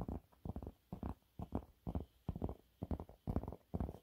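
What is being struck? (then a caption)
Waffle-textured fabric cleaning cloth. Fingernails scratch a yellow waffle-textured cleaning cloth held in both hands. The result is a steady run of short, muffled, scratchy bursts with a heavy low rumble and separated by brief pauses.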